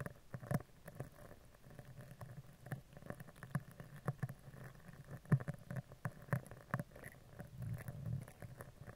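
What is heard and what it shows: A dark-bristled spoolie brush is scratched vertically down the front and side of a hollow steel mesh microphone grille. The result is a soft, low scratchy rustle with a steady murmur around 130 Hz. Brief taps and scrapes recur throughout at irregular intervals.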